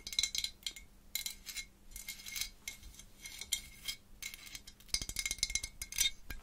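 A small hollow glazed orange ceramic jack-o'-lantern with a cut-out face is held close to the microphone while long pointed acrylic nails tap and scratch it. Bright, quick clicks mix with bursts of high scratching, each with almost no ring.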